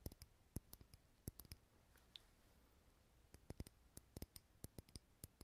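A small, lit, clear glass jar candle filled with green wax is held in the hand and tapped with fingernails. The taps are sharp, quick, bright clicks at an irregular pace. They are spread across the clip, with a quieter pause in the middle before the tapping resumes.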